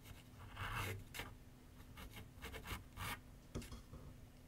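A pencil scratches outline strokes across a large white paper sheet mounted on a board on a wooden easel with solid backing. Five raspy, papery bursts stand out over a quiet, faint low hum.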